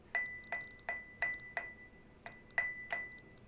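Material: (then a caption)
Fired clay. A fired clay pot that was fired hotter and melted more is tapped eight times, each tap giving a bright, glassy ring near 2 kHz that lingers briefly between strikes. The glass-like ring shows a more vitrified clay body, with the pot's shape, thickness and firing heat all shaping its sound.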